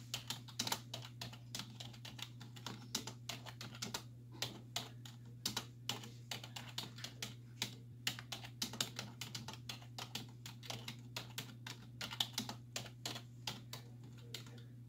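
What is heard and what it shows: Long nails and fingertips type rapidly on the hollow keys of a black plastic computer keyboard resting on a wooden desk. The result is a steady stream of short, bright, clicky taps, each dying away almost instantly, over a constant low hum.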